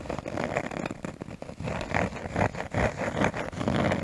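A cork surface is tapped and scratched close to the microphone. Irregular, dense soft taps blend with a continuous scratchy rustle, centered in the mid frequencies.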